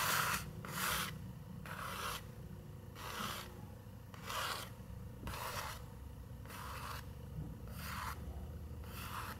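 Long nails scratch across the illustrated tree on an open paper picture book page, making repeated dry, raspy strokes. Each stroke is a bright, hissy scrape centered in the upper mids, separated by short pauses over a faint, steady low background hum.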